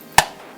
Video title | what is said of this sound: Egg Cracking With No Hands | I'm gonna do a little tap it cracked